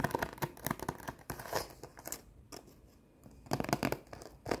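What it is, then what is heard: Cardboard sheet of rhinestone stickers scratched with nails. Long nails scratch and rub across a flat cardboard sheet of rhinestone face stickers, making quick, dry, papery scratching bursts. The scratching is busy at first, drops to near quiet partway through, then returns in sharp bright strokes.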